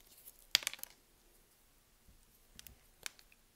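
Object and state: Bar of soap being cut.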